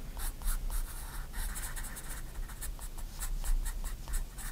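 A 4B pencil makes short, quick strokes across the page of a white paper sketchbook lying flat, producing a series of dry, bright scratching bursts. The strokes come in a steady, uneven rhythm over a constant low hum.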